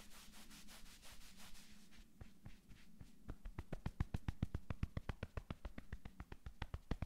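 Fast palm rubbing and long nails sweeping across a navy cotton sweatshirt on a man's upper back. It opens with soft, airy brushing strokes, then shifts to a quick, rhythmic run of short, crisp scratches over a low steady hum.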